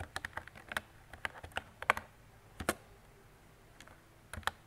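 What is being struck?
Plastic mechanical keyboard.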